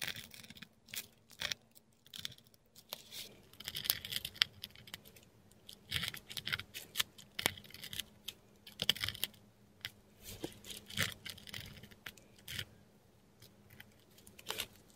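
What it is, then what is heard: Dip pen nib scratching on textured paper. A metal dip pen nib scratches across a flat sheet of textured Korean paper, writing Greek letters in ink, heard close up. Quiet, bright, dry scratching strokes come in short irregular bursts, with a faint steady low hum underneath.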